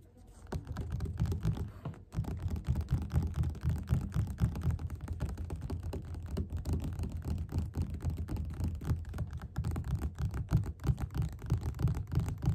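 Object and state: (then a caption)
Paperback book. Fingertips and short nails tap fast on the beige paper cover of a closed, solid paperback book lying flat on a table. The result is a rapid, continuous patter of soft, dull, low thuds with almost no brightness and very short decay.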